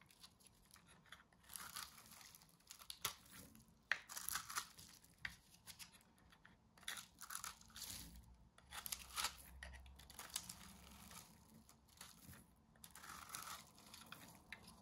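A small metal blade shaves the edge of a hand-held round disc of coiled, layered dry soap strips in beige, green and yellow. Quiet, dry, crinkly scrapes and crunching tears come in short bursts, bright and hissy with very little low end.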